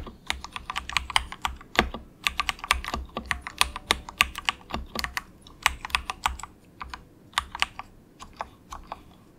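Fingertips of both hands type softly on a compact, budget 68-key mechanical keyboard with dark grey plastic keycaps. The keystrokes come as a quick, uneven stream of short, crisp clacks with a bright, plasticky tone. Each one dies almost instantly over a faint low hum.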